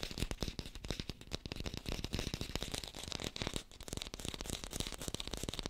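Fingertips tap quickly on an artificial green apple, recorded close on a hi-fi microphone. A dense, rapid stream of short, dull taps with a deep thump underneath and a crisp, bright clicky edge on each tap, with almost no ring after each tap.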